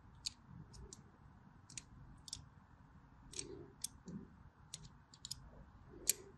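A blade scores lines into a solid white DURU bar soap with a crosshatched surface, making quiet, sharp, bright clicking and scratching ticks. Nine short crisp hits stand out over a low, soft background rustle, each dying away almost instantly.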